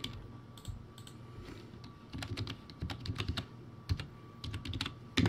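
Fingertips type on a poor-quality, backlit plastic typewriter-style computer keyboard with round white plastic keycaps on a clear base. Irregular clusters of short, dull plastic clacks with brief bright ticks run under a faint steady tone. A few louder presses stand out, with the hardest at the very end.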